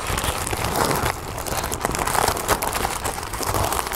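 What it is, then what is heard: Tissue paper crinkling. A large sheet of thin orange tissue paper spread on a wooden table is crinkled and rubbed by fingertips and nails. It gives a steady, close crinkling rustle with bright papery crackles and a low soft undertone, rising and easing slightly over four seconds.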